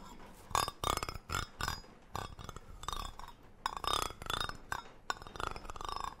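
A hollow green cylindrical metal tin with a gold lid, held close to the mic, has its lid rim scratched and rubbed with a brush-like tool while long nails work on the body. The result is a series of short, scratchy bursts, each carrying a bright metallic ring near 1.1 kHz that fades quickly between strokes.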